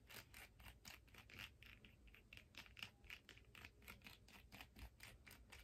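Long nails scratch and tap along the ridged surface of a turquoise hard plastic skate blade guard held in the hands. Quick, uneven bursts of bright, dry scratching repeat throughout, with short clicky taps over a faint low rumble.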